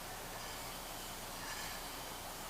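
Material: Nothing is struck.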